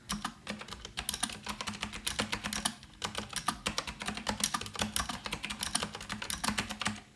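Fingertips type continuously on an Azio Retro Classic mechanical keyboard, a rose-gold retro model with round plastic keycaps. Fast, bright, clicky keystrokes come in a steady stream with one brief pause around the middle.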